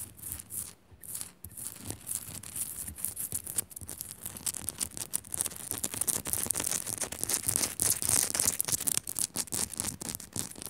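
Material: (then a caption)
Rock salt. Long nails quickly tap and scratch the rounded top and sides of a solid pink Himalayan salt lamp. The result is a dense, steady stream of bright, hissy scraping broken by short, dry taps that stop instantly with no ring, growing somewhat louder toward the end.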